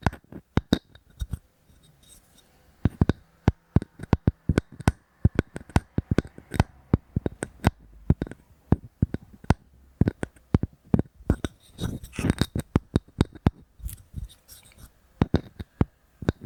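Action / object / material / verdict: tap / wooden object / wood / none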